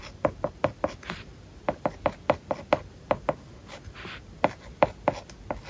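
A stylus tip writes words on an iPad's glass screen covered with a matte, paper-like plastic film, producing a quick series of sharp, dry taps with a short tick around 600 Hz and almost no ring. Faint, soft scratching strokes fill the gaps between the irregularly spaced taps.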